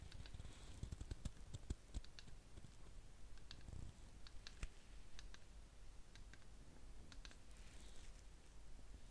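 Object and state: Ceramic candle jar.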